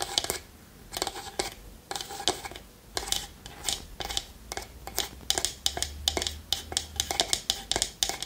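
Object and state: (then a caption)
Wooden lidded pot. A small hollow wooden pot with a lid and a wooden spoon inside, held in the palm, is tapped and scratched with long nails. Bursts of quick, bright, dry clicks and scratchy rustles come in clusters, each dying away almost instantly, over a faint low hum.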